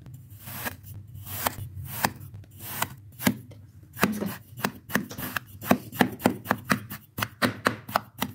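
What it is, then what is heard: Kinetic sand being pressed and cut. A metal tube is pressed down again and again into pink kinetic sand packed flat in an oval red plastic tray, punching round holes until the surface crumbles. Each press gives a short, soft, gritty crunch with a brief bright hiss and almost no ring, quickening into a steady run of cuts in the second half.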